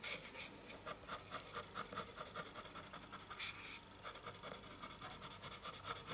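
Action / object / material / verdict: scrape / paper sheet with colored pencil on a wooden table / paper / none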